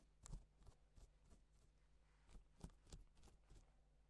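A gloved fingertip traces letters across pink reversible plastic sequin fabric, scratching and flipping the sequins over to silver. Soft, quiet scratchy rustles come in short bursts over a low steady hum, with each stroke fading quickly.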